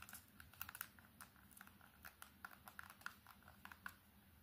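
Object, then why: Plastic keypad mobile phone. Long nails tap fast and aggressively on the front and back of an old Samsung keypad phone with a plastic body and silver accents. The result is a quiet, rapid, uneven run of sharp, dry clicks centered around 1.5 kHz with a bright edge. Each click dies away almost instantly.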